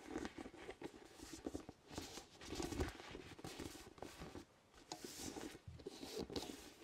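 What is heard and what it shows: A large, hollow, orange inflated vinyl spiky ball with nubs is tapped with the fingertips close to the microphone. Quiet, irregular patters and soft, hollow thuds come in uneven clusters, with brief rustly scraping between them.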